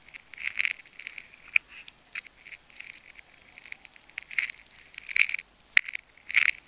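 A metal craft knife blade scratches and slices along the cut in a solid ball of layered pink and clear adhesive tape, held open by fingers. Bright, crackling scrapes come in short, uneven bursts centered around 2 kHz, with no low end, and a few sharper snaps stand out between them.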